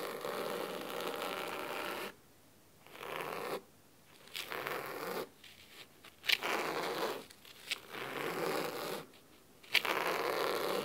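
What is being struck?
Fabric-covered hardcover book.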